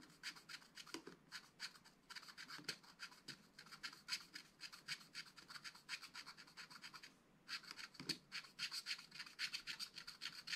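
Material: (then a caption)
Coated card. A wooden stylus scratches tree trunks into the black-coated card of a flat, spiral-bound scratch-art pad. Quick, dry, bright scratching strokes repeat at an uneven rapid pace, with a few soft low bumps and a brief pause near the seven-second mark before the strokes resume.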